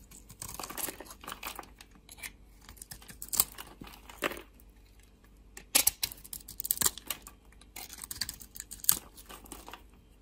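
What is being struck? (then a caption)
Bar of soap. A utility-knife blade cuts and scrapes curls off a solid, dry black bar of soap with a white core, held in the hand. The clip is full of bright, crisp scraping and crackling bursts, with sharper snapping cuts standing out among the softer shaving sounds.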